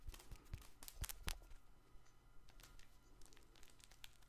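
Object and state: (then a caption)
Fabric crinkle toy ball. A soft, multicolored fabric baby toy ball with tags and a plastic ring, hollow and likely crinkle-filled, is held close to the microphone and scratched and rubbed with painted fingernails. Quiet, bright crinkling and scratching bursts are sharpest in the first second and a half, then settle into a softer, steady rustle over a low rumble.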